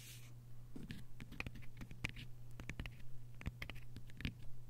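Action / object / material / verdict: scrape / hardcover book with paper dust jacket / paper / none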